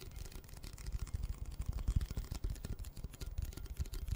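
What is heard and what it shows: Fingertips and short nails tap and scratch along the printed surface of a red Pringles can, a hollow composite cardboard tube with metal ends about 25 cm long, held in both hands close to the mic. A quick, continuous stream of soft, boomy, hollow thumps sits almost entirely in the deep low end, with faint scratchy texture above. Each tap dies away almost at once.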